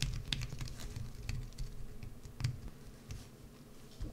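A solid green bar of soap, held on edge, is scraped and carved with a wood-handled carving tool. Quiet, dry scratching comes as a run of short, crisp strokes with bright edges over a low, dull rumble. The strokes fade slightly toward the end.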